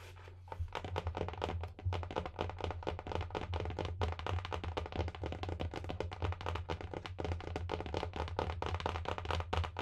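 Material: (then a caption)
Cloth, board. Long painted nails and fingertips tap rapidly and continuously on a large, solid, closed hardcover book with a marbled paper/cloth cover, held close to the microphone. The taps come as a dense stream of short, dry clicks with little ring. A steady low hum runs underneath throughout.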